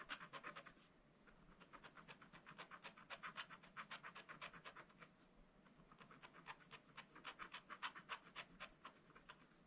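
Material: Coated paper.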